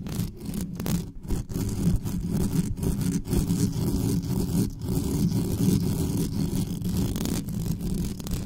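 Long nails scratch fast and hard across the grille and body of a dark metal USB condenser desktop microphone with no cover on it. The result is a dense, continuous, low, rumbling scrape with little high end and only brief dips in loudness.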